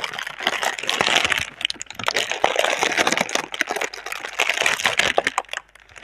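A single clear plastic air-cushion packaging tube with green print, hollow and air-filled, is held in both hands while long red nails and fingertips crinkle and rub its plastic film. A dense, bright crackling and rustling runs throughout, with quick sharp ticks over a hissy wash and almost no low end.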